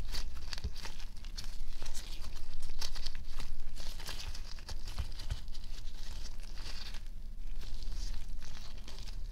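White glittery homemade glue slime is folded and squeezed against a white table by one hand in a pink latex glove. It gives a steady run of sticky squishes and crinkly crackles, with bright snapping pops scattered throughout. The sound swells louder around the second and third seconds and again near the end.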